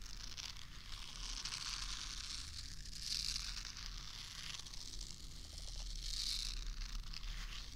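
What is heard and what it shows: Long manicured nails scratch across the bristle nubs of a small, solid, pink soft silicone facial cleansing brush held beside the left ear of the microphone. The result is a steady, close, bright scratchy rustle with a low rumble underneath, swelling louder around three seconds and again near six seconds.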